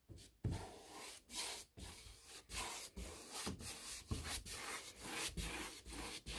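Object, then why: Bristle paintbrush on a molded hardboard door. A bristle paintbrush is dragged in about ten brushing strokes along the panel molding and flat stiles of a large white, painted six-panel interior door of molded hardboard, likely a hollow-core molded composite. Each stroke is a dry, scratchy rasp with bright hiss and a soft, low, hollow body, separated by brief pauses in an irregular rhythm.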